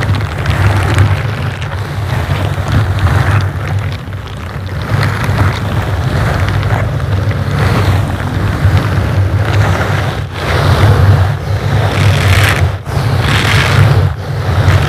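Silicone bristle gloves slowly brush and scratch across the surface of a dark grey foam microphone windscreen. The sound is a continuous muffled, wind-like low rumble, centered around a deep tone near 105 Hz. Soft brushy scratching swells and fades over it, with brief dips where the strokes pause.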